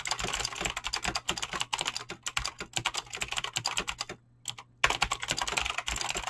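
A full-size mechanical keyboard with Razer clicky green switches and dyed PBT plastic keycaps, resting on a desk, is typed on fast with fingertips and short nails. The continuous key presses make a dense stream of sharp, bright clicks, broken by a brief pause a little past the four-second mark before the rapid typing resumes.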